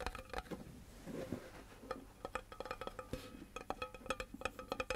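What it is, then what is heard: Cardboard composite can. A tall, hollow, empty-looking cardboard composite can with metal rims and handwriting on it is held sideways and tapped rhythmically with the fingertips and nails of both hands. The taps come as quick, dry knocks with a hollow, woody tone centered near 500 Hz and some brighter clicks from the nails. Each tap dies away almost at once, leaving a busy, uneven drumming pattern.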